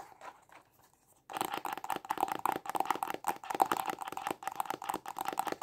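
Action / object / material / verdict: tap / small cardboard box / cardboard / none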